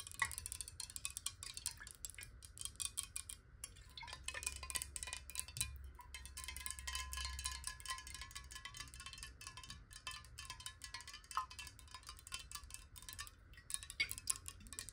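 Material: Glass.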